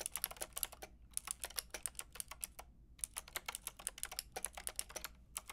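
Rapid typing with fingertips and long red nails on a Lofree mechanical keyboard with a white plastic case and round pink and grey plastic keycaps. About 35 sharp, bright plastic clicks come in quick bursts separated by short pauses, each dying away instantly over a faint low hum.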